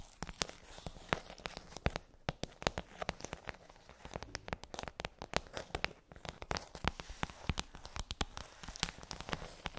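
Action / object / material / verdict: tap / plastic tray with hollow domes / plastic / none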